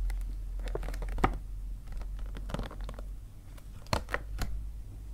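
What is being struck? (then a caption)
Paper gift bag. Fingers with painted nails tap and scratch on the front of an empty-looking white paper See's Candies gift bag held upright on a table. The result is quiet, hollow papery taps and crinkly scratches over a low background rumble, with a few sharper, brighter taps standing out.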